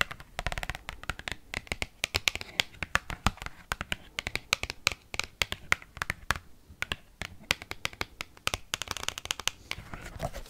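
An oversized cardboard Pokemon trading card, bent while held, is tapped rapidly with paperclip-tipped nails. The taps are sharp, dry and bright, with no ring, arriving in fast irregular bursts over a faint papery rustle.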